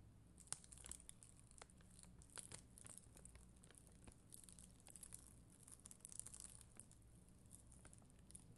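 A black mascara spoolie, with long green nails, scratches across a solid, flat sheet of red and clear acrylic rhinestone gem stickers. The result is a quiet, steady run of dry, bright crinkling and ticking scrapes with occasional sharper clicks, over a constant low hum.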